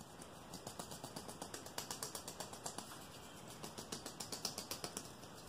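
A long, thin, solid clear rigid plastic ruler is held in one hand and quickly tapped and flicked with the fingertips and nails of the other hand. About 27 sharp, bright clicks and ticks come at a fast, slightly uneven pace of roughly four per second. Each click dies away almost at once over a faint steady hiss.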